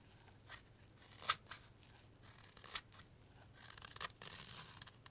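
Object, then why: Wooden carving blank cut with a steel knife. A steel knife whittles a solid light wood carving blank, taking off shavings with crisp, bright cutting strokes. Short, quiet scraping cuts are spread through the clip, with the sharpest snaps near the start and middle, followed by a longer run of scraping toward the end.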